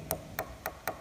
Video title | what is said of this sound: Pilot Owner Maintenance | that's where the outer skin of the winged skin is no longer attached to the foam inner